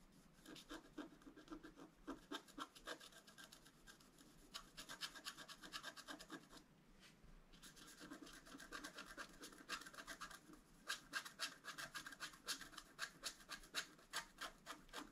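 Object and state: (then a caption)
Scratch art board being scratched. A wooden stylus scratches fine lines into the right antler of a deer drawing on a flat, black-coated scratch art card. Quick, uneven strokes make a dry, bright scratching, with a brief pause around the middle before the strokes resume and grow slightly louder.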